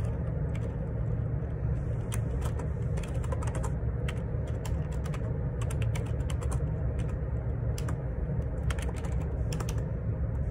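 Fingertips type on a black Perixx Periboard 612 wireless Bluetooth dual ergonomic split keyboard with plastic keycaps, resting on a grey desk. Quick, bright plastic key taps patter unevenly over a steady, loud low hum that fills the whole clip.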